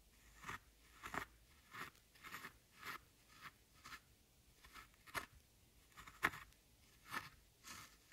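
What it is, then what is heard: Pressed powder eyeshadow being scraped apart. A thin metal-tipped tool scratches and crumbles one glittery brown pan of solid pressed powder in a large flat eyeshadow palette with round pans. Quiet, dry crunching scrapes come in short, bright bursts separated by near-silent pauses, as the pan breaks down into loose powder.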